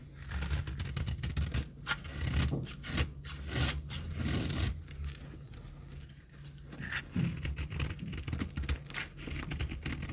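A solid, dry pink bar of soap held in the hand has its surface shaved into crumbly flakes with a knife. The sound is a continuous run of dry, gritty scraping strokes with a low rumbling body and bright crackling flecks as the flakes break away.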